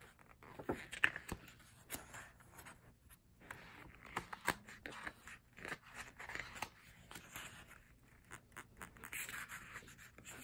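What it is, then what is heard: Paper photobook. A single fingertip taps on the glossy photo pages of an open paper photobook resting on a solid stack of pages. A quiet, uneven series of soft, dry taps is heard, mixed with light papery scratches and brushes, with a bright crispness and almost no ring after each touch.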